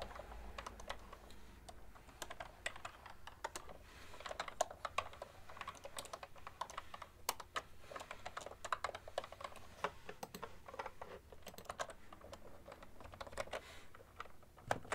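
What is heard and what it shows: Fingertips and long nails type continuously on a full-size cream plastic ergonomic keyboard with hollow keys. The result is a steady stream of quiet, dry, clicky taps with a bright edge and almost no ring, over a faint low background hum.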